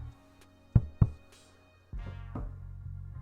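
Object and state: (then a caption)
Drum-tight embroidery fabric in a hoop. Fingers tap embroidery fabric stretched in a hoop, producing two short, dull, low thumps with almost no ring, followed by a steadier low-pitched sound with faint bumps. The fabric is drum tight, with still some give but not loose, so it is tight enough to stitch.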